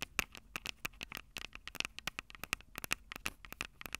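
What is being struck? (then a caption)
Handheld recorder's metal mic capsules. Long purple nails tap and scratch the silver metal mic capsules of a Tascam DR-05 handheld audio recorder. A rapid stream of many short, dry, bright clicks and scratchy ticks follows, each dying away almost instantly at a quiet level with little low end.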